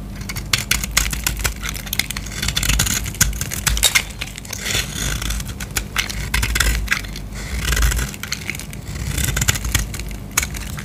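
A solid green bar of soap, held in hand, is scraped into curls with a utility knife blade. Dense, bright scraping and crackling strokes run throughout over a steady low hum, swelling in waves as the blade peels the soap.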